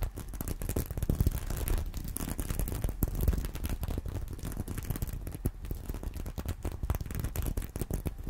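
Fingernails scratch quickly over the plastic sequins of a small reversible sequin-covered fabric purse resting on a pillow. The result is a dense, continuous stream of rapid scratchy clicks and rustling, heavy in low thumping energy with a faint brighter crackle on top.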